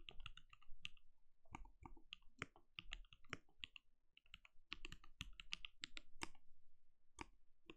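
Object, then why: Plastic mechanical keyboard. A compact backlit mechanical keyboard with plastic keycaps and a translucent glowing case is typed on rapidly with the fingertips of both hands. Quick, sharp key taps come in uneven bursts, each a bright clack over a soft low thump that dies away almost instantly, with a brief lull near the middle.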